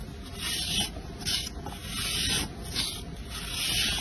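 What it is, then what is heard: Soap bar being scraped. A round, solid, pale blue bar of soap held in one hand is scraped and shaved flat with an orange-handled blade, shaving off flakes and exposing green glitter. Repeated dry, bright scraping strokes rise and fall in steady waves, with most of the energy in the high register.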